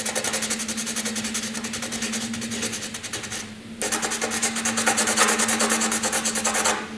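A graphite pencil scratches across a flat sheet of white drawing paper in heavy, rapid back-and-forth shading, making a dense, bright, raspy rubbing. The strokes pause briefly near the middle, then resume slightly louder, with a faint steady low hum underneath throughout.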